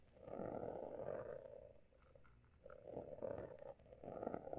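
Fingertips and nails scratch and tap the surface of a closed, solid textured hardcover notebook with a pale blue embossed cover. The result is three long bursts of dense, raspy scratching with a mid-range tone, separated by brief quieter pauses.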